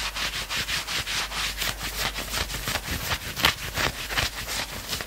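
Fingertips scratch quickly along the maroon sleeves of a worn knit fabric sweatshirt. The result is a fast, somewhat uneven series of bright, rasping strokes, roughly three per second, with a hissy high-frequency texture and little low end.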